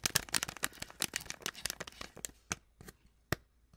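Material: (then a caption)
Foil-lined paper. Long acrylic nails tap and scratch on a small, flat, sealed Twinings tea sachet of foil-lined paper, still full with its tea bag. A dense run of quick, bright, crinkly clicks and scratches thins out into a few sharp separate taps near the end.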